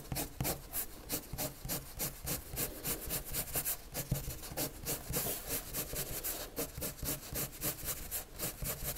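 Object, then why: Colored pencil on a paper sheet. A red colored pencil makes quick hatching strokes on a white paper sheet lying flat, scratching the surface. A steady, rapid run of short, dry scratching strokes is heard, each with a bright, hissy edge over a soft low rub.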